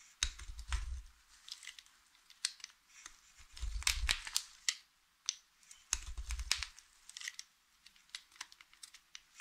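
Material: Soap.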